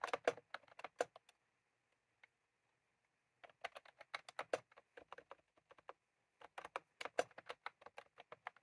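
Fingertips type on a white/cream plastic retro keyboard with round keycaps, with a small clip microphone lying on the keys but not handled. Quick, crisp, dry plastic clicks come in three bursts separated by short pauses, with a single stray tap during the first gap.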